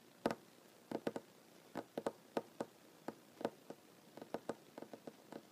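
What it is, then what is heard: Solid wooden tabletop. A solid wooden tabletop is tapped with the fingertips and short nails of one hand, giving about twenty quick, dry taps in an irregular rhythm, some in close pairs. Each tap is short and dull, centred in the low-mid range around 465 Hz, with a faint bright click from the nails and almost no ring.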